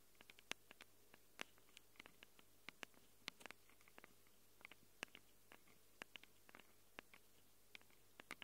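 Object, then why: Handheld recorder microphone capsules, plastic and metal. Long acrylic nails scratch quickly across the metal-rimmed microphone capsules of a small handheld Tascam recorder with a plastic body. The result is a quick, irregular series of sharp, dry, bright clicks and ticks that stop instantly, over a faint low steady hum.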